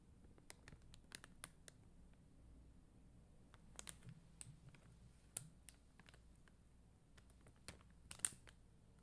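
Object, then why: Plastic rhinestone stickers on a backing sheet. Long dark-green nails tap and scratch across a flat plastic rhinestone sticker sheet of red and clear faceted plastic gems on white backing. Quiet, sharp, bright clicks and short scratchy ticks come at irregular intervals, each dying away almost instantly over a soft low rumble.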